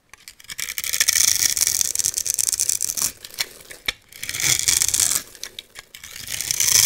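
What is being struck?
Bar of soap cut with a metal blade.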